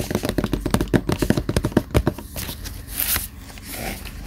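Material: Cardboard.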